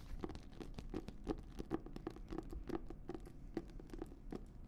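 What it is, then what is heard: Leather-bound notebook. Long nails tap and scratch the cover and spine of an embossed leather notebook with a thick paper block. The result is a quiet, steady run of short, dry clicks and scratchy rustles, each tap dying away almost instantly over a soft low murmur.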